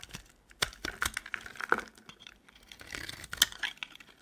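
A metal utility knife blade scrapes long shavings off a solid, dry, cream-colored soap bar with foil on its edges, held in the hand. The result is a series of irregular, dry, crisp scraping and crackling sounds, bright and high in tone with very little low end.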